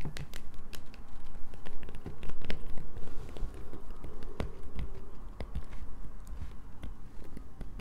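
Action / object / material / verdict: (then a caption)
scrape / bar of soap / soap / none. A solid light-blue bar of soap, held in both hands, is scratched with long nails. Quick, irregular scratchy clicks and taps sound over a low, steady rumble. They grow loudest in the first few seconds, then ease to a softer, continuing scratching.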